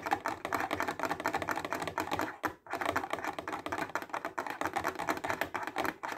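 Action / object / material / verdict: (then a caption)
tap / clear plastic case holding highlighters / plastic / none. A clear plastic box full of highlighters is held close and tapped fast with fingertips and nails, producing a dense stream of short, crisp clicks that sound much like rapid typing. The taps pause briefly at about 2.6 seconds, then resume at the same quick pace, with the brittle plastic clatter centred in the mids around 800 Hz.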